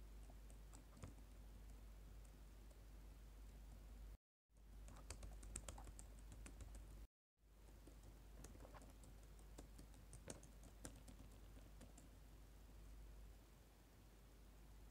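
Dark plastic laptop keyboard keys are typed rapidly with fingertips and short nails, while a lapel mic rests on the keyboard untouched. The result is soft, irregular clicking and tapping over a steady low hum. The sound cuts out completely twice, briefly, near four and seven seconds.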